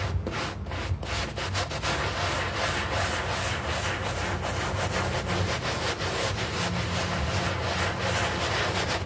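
A bristle brush scrubs a small, foamy green artificial-grass doormat in quick, uneven back-and-forth strokes. The result is a steady, rough, bristly rasp that stays bright through the high end, over a low, constant rumble.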